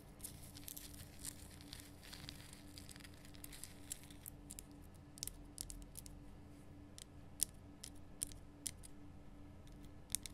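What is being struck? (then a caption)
Rock salt lamp. Long nails tap and scratch across the solid, rough surface of a large, lit pink Himalayan rock salt lamp. The quiet clip has dry scratching and crinkly rasps punctuated by sharp, bright clicks that die away instantly. A steady low hum sits underneath throughout.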